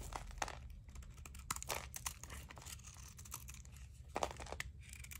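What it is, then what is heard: Dry soap bar shaved with a blade. A utility knife blade scrapes and shaves crunchy flakes off a thinner, solid blue dry soap bar held in a palm. Quiet, dry crackling and crinkling scrapes come in quick bursts, with bright papery edges over a low steady hum.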